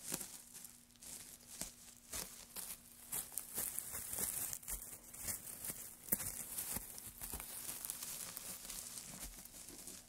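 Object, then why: Pile of wood shavings. Gloved fingers press into and scratch through a loose pile of dry wood shavings, making bright, dry crackling and crinkling rustles with many quick, sharp pops. The texture stays busy and uneven for the whole clip over a faint steady low hum near 200 Hz.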